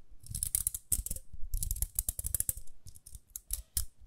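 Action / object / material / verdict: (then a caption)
scrape / plastic round hairbrush / plastic / none. A small round pink plastic hairbrush is held in both hands while long nails scratch and tap its rim and bristles. Rapid, dry, bright clicks and scratchy taps come in quick clusters over a soft low thump, each sound stopping short with no ring.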